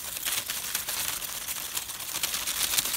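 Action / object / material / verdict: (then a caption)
shake / dried nigella seed heads / dried plant / none. A bunch of dried nigella seed heads is turned upside down and shaken to collect the seeds. A steady stream of dry, bright crinkling and rustling with quick rattling ticks fills the clip, sitting almost entirely in the high frequencies with almost no low end.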